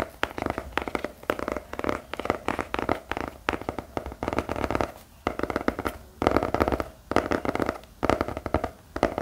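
The plain grey cardboard back of a notepad, held upright, is tapped rapidly with the fingertips of both hands. The result is quick bursts of dry, hollow drumming taps in the midrange, each tap dying away almost instantly, with brief pauses between the bursts.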